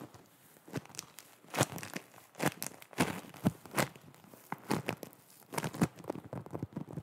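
Long nails scratch and press a disc of foam bead clay (floam) held close up. Irregular bursts of crisp, crunchy crackling and tearing-like crinkles spread from low up into bright highs, with short quiet gaps between them.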